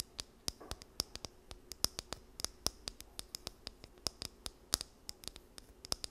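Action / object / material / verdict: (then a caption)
scrape / plastic comb / plastic / none. Long nails scratch and run along the teeth of a small, solid, blue plastic wide-tooth comb held in both hands near the mic. About 33 sharp, dry clicks and ticks land in quick, uneven succession, each with a bright, high edge and almost no ring, over a faint scratchy hiss.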